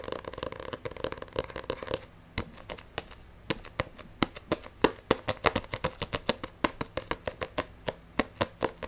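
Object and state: Paperback manga book.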